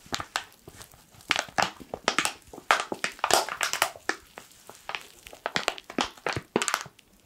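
A black foil coffee pouch is squeezed and crushed with fingertips. The result is dense, bright crinkling and crackling in quick, irregular bursts with almost no low end.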